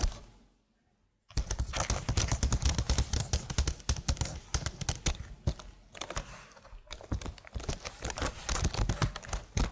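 Long blue nails type and tap on the keys of a slim black plastic computer keyboard. After about a second of near silence, a dense run of quick, crisp clicks and clacks starts, with a low thuddy body and bright edges. The clicking eases briefly near the middle, then picks up again in busy bursts to the end.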